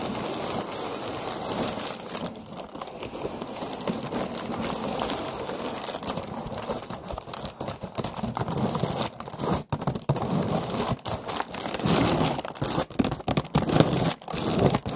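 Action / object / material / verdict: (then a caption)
scrape / paper lantern on a wire frame / paper / none. A hollow orange paper lantern on a wire frame is held while long nails scratch and tap across its surface. The result is a steady, crinkly, papery rustle that becomes choppier and louder in the second half, with sharp crackling taps breaking through.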